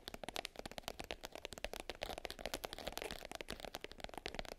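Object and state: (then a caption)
Glitter-covered hard case. Long nails rapidly tap and scratch the top of a small black glitter-covered hard case, closed and lying flat. The result is a dense, quiet run of short, dry clicks with a gritty, crackling scratch, centered in the midrange around 590 Hz with bright texture up high, and each tap dies away almost at once.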